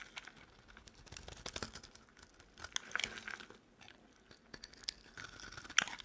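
A metal utility knife blade carves long strips off a solid, dry, cream-colored oval soap bar held in the palm. The cutting makes crisp, bright scraping and crunching sounds in short bursts, with sharper snaps as pieces break away. The sounds are quiet and dry, with almost no low end and no lingering ring.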